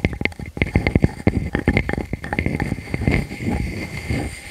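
Long fingernails scratch across the surface of a solid round wood slice with growth rings while one hand holds its edge. Quick, dry scraping strokes come in rapid bursts with a low, rough body and little ring, blending into a continuous rustling scratch toward the end.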